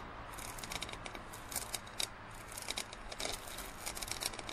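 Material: Plastic.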